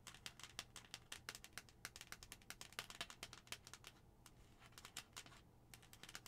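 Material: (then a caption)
Plastic. Long nails tap rapidly on the face of a hollow white plastic skull-shaped cup, then on its pink plastic lid. The result is a quiet, steady patter of dry, bright clicks that stop almost instantly, over a faint low hum, with a brief lull near the end before the tapping resumes.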